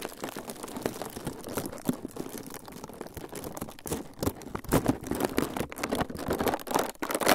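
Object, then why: Thin plastic film sheet. A thin, clear plastic film sheet is pinched and crinkled by the fingertips of both hands close to the microphones. Dense, continuous crackling and crinkling fills the clip, with sharp bright snaps that grow louder and more bursty in the second half.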